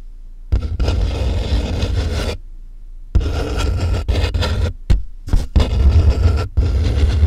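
Fingertips and nails tap and scratch along the packing tape on the top of a medium, closed corrugated cardboard box with a microphone inside its hollow interior. Long stretches of rough, boomy scratching come in bursts separated by quiet gaps, with a few short, sharp taps near the end. The enclosed space makes the sound deep and heavy in the low end.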